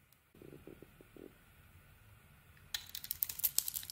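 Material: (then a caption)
Soap. A small metal blade shaves a solid, hand-sized glossy purple soap bar embossed "Speick" with an orange interior. A few soft, muffled scrapes come first, then after a quiet pause a burst of bright, crisp crackling and flaking rises to the end as the blade cuts through.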